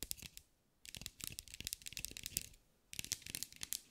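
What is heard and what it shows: A green mirror-glass mosaic sphere held in the hands is tapped and scratched with long acrylic nails. Quick, bright clicking and scraping come in bursts, with short pauses around half a second and three seconds. Each tap is crisp and dies away almost at once.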